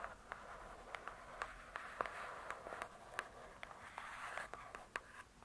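Long nails tap and scratch the glossy cardboard cover of a large, closed hardcover book. About fifteen short, dry taps click out at an uneven pace over a soft, continuous scratching hiss, all quiet and centered in the midrange with little low end.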